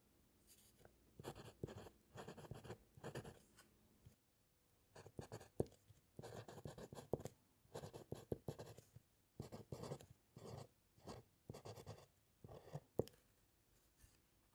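A metal fountain pen nib scratches across a white paper sheet resting on a solid wooden clipboard during handwriting. Short bursts of soft, papery scratching strokes alternate with brief pauses, carrying a hollow low-mid body from the board and occasional sharper ticks as the nib lifts and lands.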